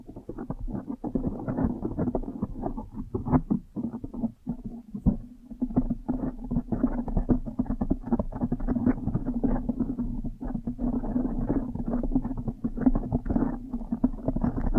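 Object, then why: Foam microphone windscreen. Long nails and fingers rapidly scratch and squeeze a blue foam windscreen on a microphone. The result is a dense, continuous rustle of muffled crackles and soft thumps, full in the low and middle range with no bright top. The texture stays busy and uneven throughout, with brief dips between bursts.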